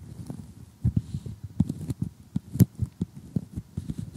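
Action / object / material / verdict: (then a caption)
tap / cardboard jigsaw puzzle pieces / cardboard / none. Metal tweezers tap and pick at glossy cardboard jigsaw puzzle pieces up close, making a quick, irregular series of soft, dull clicks. The taps are short and dry, with most of their weight in the low range, and they stop almost instantly with no ring.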